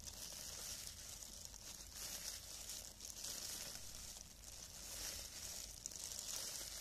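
Thin, clear cellophane plastic film gloves on both hands crinkle as the fingers flutter and rub against the loose film. A steady, bright, hissy crinkling runs throughout, concentrated in the high range with little low end and only small swells in loudness.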